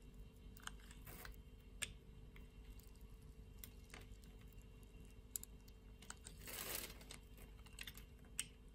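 A solid translucent pink bar of soap, held in a hand with long nails, has its scored surface scraped by a blade. Quiet, sharp, bright scratchy ticks come at irregular intervals over a low steady hum, with a longer, louder rasping scrape near the end.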